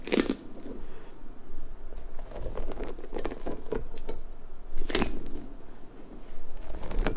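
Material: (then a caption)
Rubber. A large, hollow pink rubber puffer ball is squished, then stretched long between both hands, then squeezed with long-nailed fingers. The result is a steady stream of soft, crackly, crinkling rubber sounds over a low rumble, with a few sharper, brighter snaps near the start and about two-thirds of the way through.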